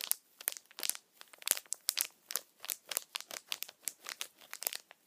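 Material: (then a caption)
Plastic. A small, empty, clear thin plastic bag is held upright in one hand while the fingers squeeze and crinkle it. The result is a quiet, steady run of short, bright crinkling bursts with almost no low end and no lingering ring.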